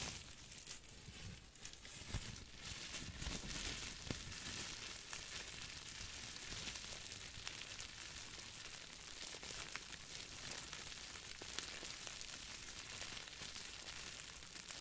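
A small crumpled piece of clear plastic bubble wrap is held in both hands and rubbed and crinkled with the fingertips. The result is a steady stream of bright, dense crackling and crinkling, with low-level handling rustle underneath and no clear pauses between sounds.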